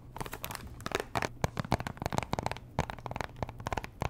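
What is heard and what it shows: Long nails tap and scratch a small pink Chanel perfume box, a hollow cardboard box likely still in its cellophane wrap. The result is a dense run of sharp, dry clicks with crinkly scratching, each tap cut off almost instantly with no ring.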